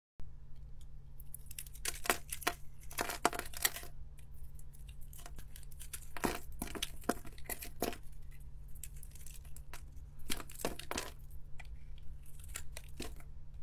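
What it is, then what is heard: Bar of soap being shaved. A utility-knife blade scrapes and shaves flakes off a solid, palm-sized pink oval Camay bar soap held in one hand, with the shavings piling up on a marble surface. Bursts of dry, crisp scraping and crumbly shaving come in irregular clusters, bright at the top, over a steady low hum.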